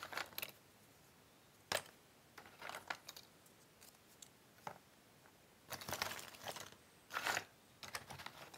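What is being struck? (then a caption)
Cardboard jigsaw puzzle pieces in a cardboard box. One hand rakes and shuffles a loose pile of cardboard jigsaw puzzle pieces with its fingertips inside a cardboard box, while the other hand rests at the box edge. The result is bursts of dry, bright clicking and rustling with very quiet pauses between them.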